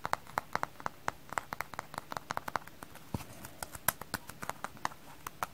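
A frozen-solid kitchen sponge is tapped in a quick, uneven run of hard, dry clicks that sound almost like clip-clopping hooves. Each tap is short with no ring, centered in the mid range around 1 kHz with a bright edge. There are many taps, roughly thirty, over a quiet background.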